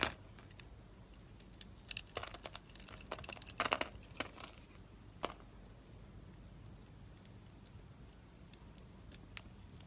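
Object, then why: Soap bar scraped with a blade. A utility knife blade scrapes a solid, light-green, embossed, palm-sized dry soap bar held in the hand, curling off wavy shavings. Dry, crinkly scraping and crunching comes in bright bursts, densest in the first half with a sharp crack near the middle, over a quiet background.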